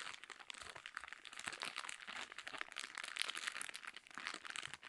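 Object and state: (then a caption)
Plastic bag of cotton pads. A soft plastic bag full of square cotton pads, with a drawstring top, is squeezed and scratched with long nails. It gives a quiet, dense, bright crinkling made of many fast crackles, with almost nothing in the low end.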